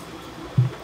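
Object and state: Nothing is struck.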